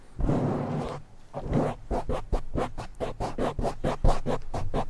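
Both hands scratch a black foam windscreen on a silver microphone fast and densely with short nails. A long, rough scratching rush gives way to a rapid run of short, rhythmic scraping bursts. The scraping sounds muffled and low-heavy, with little brightness.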